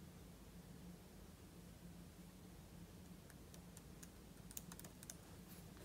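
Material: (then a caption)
Plastic. Fingertips type steadily on the plastic keys of a silver aluminium-bodied laptop resting on a table. Soft, short, bright key clicks come sparsely at first, then cluster toward the end over a quiet, steady low hum. The overall level stays low throughout.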